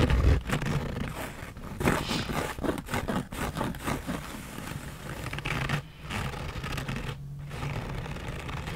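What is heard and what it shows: Long nails scratch the front panel and brim of a black embroidered Harley-Davidson fabric trucker cap worn on the head. The result is a steady run of quick, rough scraping strokes over a low, muffled rumble, with brief quieter gaps between bursts.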